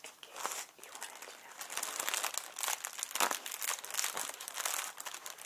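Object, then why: Inflated plastic packing air pillow. A small, hollow, air-filled clear plastic packing air pillow with blue print is handled, squeezed and crinkled with the fingers. The result is a dense run of crisp, bright crinkling and crackling with sharp, quickly fading snaps and almost no low end.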